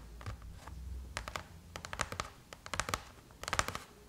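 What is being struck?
Aluminum laptop lid.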